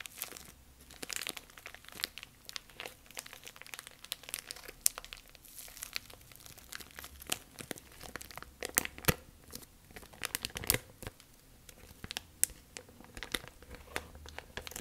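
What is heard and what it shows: A thin, clear, empty plastic bag is crumpled in both hands, then spread open and crinkled with fingertips. Dense, bright crinkling and crackling fills the clip, broken by many sharp snaps that die away instantly. A faint low hum sits underneath throughout.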